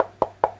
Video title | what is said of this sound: Trash to Treasure, Upcycled Box, no Warping and No Wrinkle Napkin Decoupage Tips | I just wanted you to hear what it sounds like I mean it sounds like wood